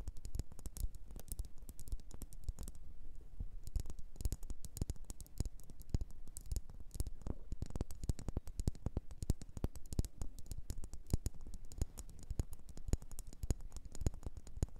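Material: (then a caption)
Ceramic. Long nails tap quickly and irregularly on a small glossy blue bowl, probably ceramic, turned upside down and hollow. The taps are short, dry clicks with a soft low body and almost no ring, forming a steady, quiet patter throughout.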